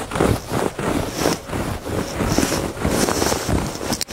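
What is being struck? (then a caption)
Woven fabric rug. Fingertips and nails scratch across the textured surface of a woven fabric rug. The rough, crackly scraping comes in uneven swells of strokes, with a soft low rumble underneath and a brighter, hissy edge on some passes.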